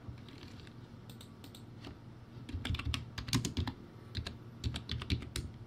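Fingertips type on a backlit plastic typewriter-style keyboard with round white plastic keycaps. After a quiet stretch, a fast run of short, dry clacks begins, pairing bright plastic ticks with low, hollow thuds. Each keystroke stops almost instantly.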